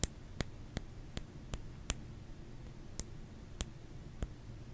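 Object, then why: Solid soap bar. Fingers tap on a solid bar of soap, making nine short, dry clicks at an uneven pace, with a pause in the middle. Each tap is a sharp, bright tick that dies away almost at once over a quiet, low background hum.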